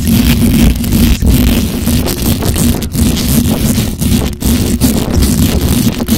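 Long acrylic nails scratch fast and hard across the hollow metal mesh grille of a black microphone. The result is a loud, continuous, rough scraping with a heavy low rumble and a dense crackly texture, broken only by a few brief dips.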